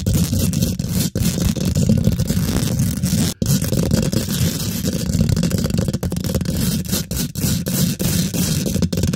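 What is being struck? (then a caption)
Steel wire-mesh microphone grille. Long pink glitter nails rapidly scratch and tap a hollow, rounded steel wire-mesh microphone head. The result is a dense, continuous rough scraping with a heavy low-end rumble and a faint bright hiss, broken only by a few brief pauses.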